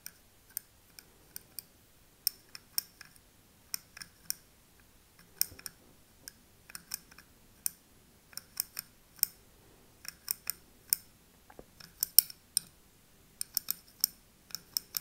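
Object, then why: Small glass candle jar filled with wax. A thin metal pick taps and scratches the rim and paper front label of a small glass candle jar filled with wax. About 34 quiet, sharp, bright clicks and ticks come in irregular bursts with faint scraping between them. Each tap dies away almost instantly, with almost no low end.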